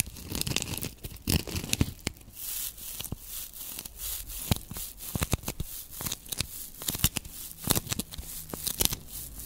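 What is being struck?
Foam sponge block.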